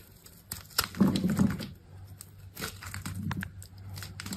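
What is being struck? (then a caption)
Bar of soap. A utility knife blade cuts and scrapes thin, brittle flakes off the surface of a solid, hand-sized bar of dry blue soap held in one hand. Irregular crisp scraping and crumbly crackles are heard, the loudest burst coming around the first second, followed by softer, steady shaving.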